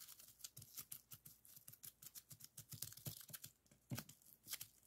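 Clear plastic bubble wrap laid flat on a wooden table is pressed with the fingertips of both hands, popping its air-filled bubbles. A quick, irregular series of sharp, dry pops sounds, each with a bright crackle and a short low thump that dies away almost instantly. Soft crinkling of the plastic fills the gaps between pops.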